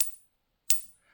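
A fake silver Eagle coin, confirmed fake by the machine and by its wrong 39.9 mm diameter, is tapped in a ping tester holder. It gives a short, dull thud with a faint high tone that dies out almost at once instead of ringing on, marking it as a fake.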